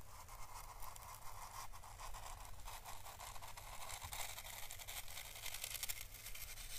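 Small paintbrush bristles and the brush tip stroke and scrape across an orange dried Chinese lantern (physalis) husk, a papery hollow shell. The result is a soft, steady, bright papery scratching and crackling that rises and falls with each stroke, over a constant low hum.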